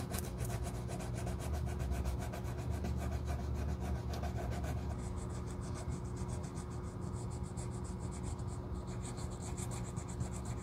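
Gloved hands rub a small piece of sandpaper back and forth across the rubber outsole edge at the toe of a black leather Gucci loafer. The result is a steady, rhythmic rasping scrape with a heavy low rumble underneath, and the strokes turn brighter and faster in the second half.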